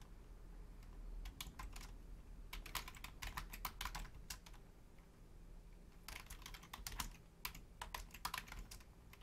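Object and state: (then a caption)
Plastic computer keyboard being typed on. Both hands, with long painted nails and fingertips, rapidly tap the membrane keys of a black plastic Logitech full-size keyboard with a hollow shell. Bursts of quick, bright clicky taps come and go, with a quieter pause near the middle, over a steady low hum.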